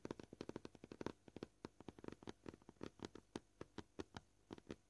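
Short painted fingernails tap on a flat, solid, white, scratched plastic cutting board, making about 30 quick, dry clicks with a low-mid hollow tone at an uneven, varied pace. Each tap dies away almost at once, and quiet gaps fall between the clusters.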